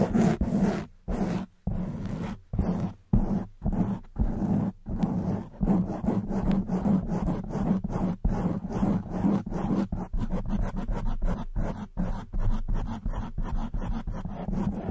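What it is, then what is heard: Foam microphone windscreen being scratched. Long white nails scratch the black foam windscreen of a silver microphone. The result is a muffled, low, rumbling scrape in bursts, broken by short silences early on and then settling into a denser run of quick strokes with a steady low hum-like tone underneath.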